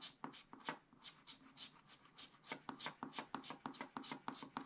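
A wooden stylus scratches and rubs a leaf area on black coated scratch-art paper in repeated strokes. Quiet, dry, bright scratching bursts come about three per second in an uneven rhythm, each short with no ring.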